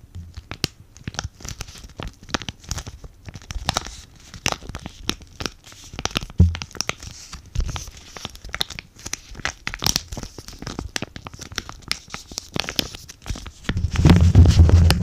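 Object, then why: Laminated foil-plastic sachet. A sealed green avocado sheet mask packet made of laminated foil and plastic is held close and crinkled, rubbed and scratched with fingertips and nails. Dense, irregular crackling and crinkling sounds come with many quick bright ticks over a low rumble, and the handling grows louder and denser near the end.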